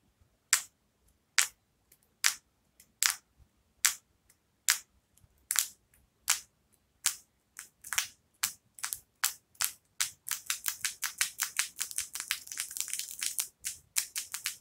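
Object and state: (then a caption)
Natural fingernails tapped together. Long natural keratin fingernails on both hands tap and click against each other over a wooden table. Sharp, bright, high-pitched clicks come at slow, uneven intervals, then speed up into a rapid, dense flurry of clicking near the end.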